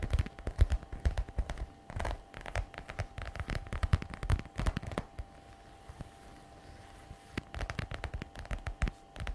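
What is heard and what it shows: Long red nails tap fast, in bursts, on the glossy black patent faux leather flap of a messenger bag and scratch across its surface. The result is dull, short, clicky taps with scratchy rubbing, heavy in the low end. A quiet lull falls in the middle, and a faint steady tone runs underneath throughout.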